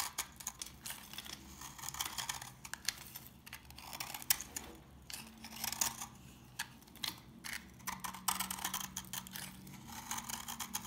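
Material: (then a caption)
Soap. A solid, rectangular beige bar of old, dry soap with a pitted surface is held in the fingers while a knife blade scrapes and cuts into it. The result is a steady run of crisp, bright crunching and crackling, with short, sharp snaps rising above the quieter scraping.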